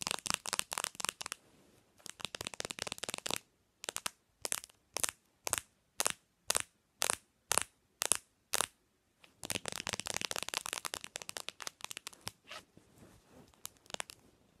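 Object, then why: Smartphone with glass and plastic body. Long nails tap and scratch the back and edges of a bare black Samsung smartphone made of glass and plastic, resting on a pillow. Quick bursts of bright, dry clicking give way to about ten evenly spaced single taps in the middle. Then comes another rapid, rattling flurry of taps and scratches that tapers off.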